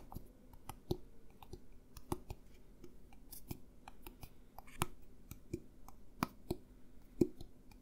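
A hollow, clear plastic drink bottle with an orange label is held sideways close to the mic and tapped with fingertips and nails. The result is a quiet, irregular run of dry, clicky taps with a short hollow tone that dies away almost instantly.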